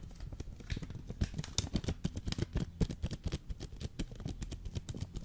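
Fingertips tap and scratch a full, hard Jacobs coffee vacuum pack in a green foil wrapper, held near the mic. Quick, dense runs of dull, low thuds overlap with brief, bright crinkly scratches. Each tap dies away almost at once, with no ringing.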